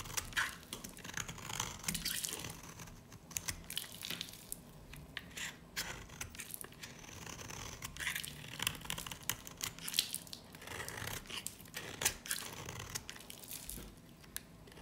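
A utility knife blade shaves crumbly curls off the surface of a solid, dry, varnished yellow soap bar held in the hand. Dense, dry scraping and crunching runs throughout, with a steady stream of sharp, bright crackles over a faint low hum.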